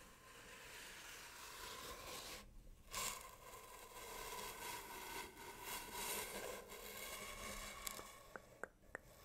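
Long painted nails tap quickly on the surface of a hollow brown cardboard tube held at an angle beside a microphone. A dense, crisp, papery patter with a faint ringing tone runs throughout, briefly dropping out partway through, and a few sharp, separate clicks stand out near the end.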